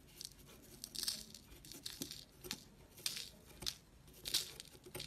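A thin metal tool is pressed into a chunky, solid white block of dried, chalky soap held in the fingertips of a hand with dark painted nails, and scraped across its crumbly surface, carving it so powder falls off. Quiet, bright, dry crunching and crackling scrapes come in short bursts with a faint brittle tearing texture. There is almost no low end.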